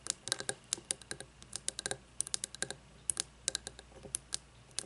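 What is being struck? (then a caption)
Glass candle jar with wax. Long nails tap and scratch the sides of a frosted glass candle jar with wax inside and no lid, laid on its side on a wooden table. A rapid, uneven series of sharp, bright, dry clicks sounds, each dying away almost instantly with no ringing, over a faint quiet background.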